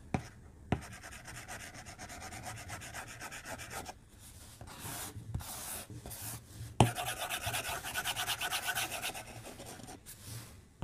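A white plastic stylus tip rubs and scratches across the flat glass screen of a tablet on a desk in short, repeated strokes. The result is a dry, brushy scraping with quick tapping edges, coming in bursts with brief pauses between them.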